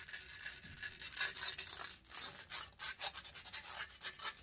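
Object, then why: Metal mesh microphone grille. Long fingernails scratch aggressively across the hollow metal mesh grille of a silver condenser microphone. The result is a bright, hissy rasping with almost no low end, first as a steadier rub and then as a rapid series of short, separate scratching strokes.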